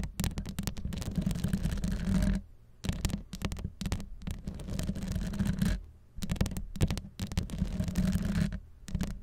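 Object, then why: Metal wire-mesh microphone grille. Long pastel acrylic nails from both hands scratch the hollow metal wire-mesh grille on top of a Blue Yeti microphone, staying on the grille rather than the rhinestone body. A dense, low, rumbling scrape continues in bursts with brief quiet gaps, heavy in the bass and with almost no bright content.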